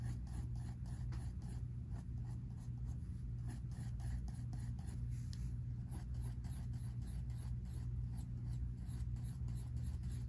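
A pink mechanical pencil scratches continuous drawing strokes across a spiral-bound sketchbook paper page resting on a table. Quiet, brushy scratching strokes repeat steadily, with faint bright edges on each stroke over a constant low hum. The sound stays soft and even throughout.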